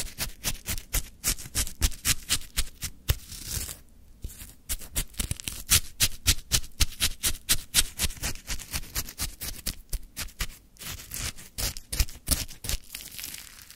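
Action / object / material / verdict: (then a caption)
scrape / lemon shaved ice in a plastic cup, wooden stick / ice / none. A wooden stick stirs and scrapes through a full plastic cup of frozen lemon shaved ice, making about fifty quick, crisp crunching strokes. The scrapes are bright and gritty over a soft low thump, with a brief pause near the four-second mark before the rapid scraping resumes.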